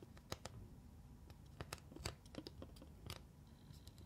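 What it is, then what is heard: Plastic eyeshadow palette. Long nails tap on the neon pigment pans and the case of a flat black plastic eyeshadow palette held close up. The result is a quiet, irregular series of short, crisp clicks with bright edges over a soft low rumble.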